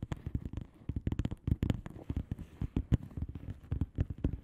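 Long manicured nails of both hands tap and scratch a flat blue plastic bubble wrap mailer envelope with air-filled bubbles. About two dozen quick, dry taps and crinkly scratches follow in an irregular stream, thudding low and dull with brief bright clicks on top. Each one dies away almost instantly.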